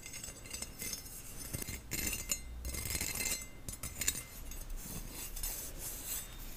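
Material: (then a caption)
Stainless steel. Nails and fingertips tap and scratch the perforated bowl of a stainless steel skimmer, a flat round holey metal bowl on a long handle, held close to the mic. Soft, bright metallic ticks and scratchy rasps come in quick, uneven clusters, each dying away almost at once with no lasting ring.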